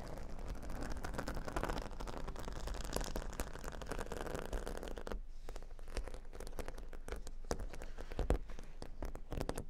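Fingernails scratch and tap across a square cork board covered with plastic faux-pearl beads, making a dense, steady crackling patter with a low rumble underneath. About five seconds in, the broadband texture thins and the sound turns into sparser, separate clicks and taps.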